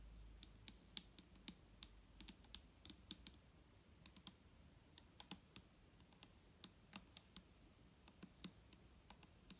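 Long nails from both hands tap quickly and irregularly on a large, clear plastic micellar water bottle lying on its side and full of liquid. Each tap is a quiet, bright, dry click that stops at once, over a faint low rumble.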